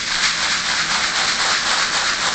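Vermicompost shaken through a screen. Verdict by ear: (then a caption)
Finished. Finished vermicompost from a harvested worm bin is shaken through a screen over a wheelbarrow lined with newspaper. It makes a steady, dense sifting hiss with a bright, rain-like rustle and almost no low end. The texture is continuous for the whole clip, with no separate impacts.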